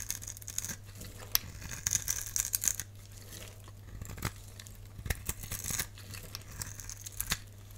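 A box-cutter blade scrapes and carves a solid, dry, palm-sized pink-and-white striped bar of soap held in the hand, shaving off crumbly flakes. Bright, crisp scraping and crackling strokes come in quick bursts over a steady low hum.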